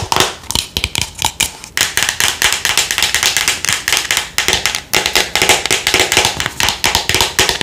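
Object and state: Plastic skincare jar.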